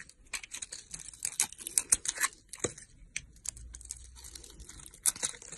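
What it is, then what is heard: Soap bar being carved. A solid red soap bar, partly carved and held in hand, is scraped and cut with a metal utility blade. Chunks break off in quick, dry, crisp crackles and scraping ticks, bright and high with almost no low end. The strokes come in irregular bursts, with a few louder snaps as pieces come away.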